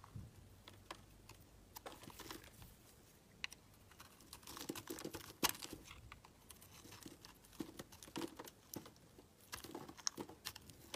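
A metal blade carves and scrapes chunks and flakes off a solid, palm-sized green Palmolive bar of soap held in the hand. The sound is a quiet, dry run of crisp, crinkly scraping strokes with bright high hiss and short clicks, with a sharper crack near the middle.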